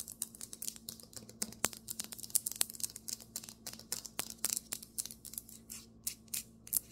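Fingernails tap and scratch quickly on a marble table top. Dense, crisp clicks and brief scratches come in rapid bursts with no ring, mostly bright high-frequency energy over a faint low hum.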